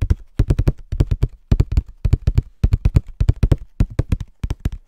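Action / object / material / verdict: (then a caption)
tap / small cardboard tissue box / cardboard / none. A small, hollow, printed cardboard Scotties tissue box is held in both hands and tapped with fingertips and nails. About 34 quick, low, hollow thumps come in rapid galloping bursts of three or four, like clip-clopping hooves. Each tap is dull and dies away almost at once.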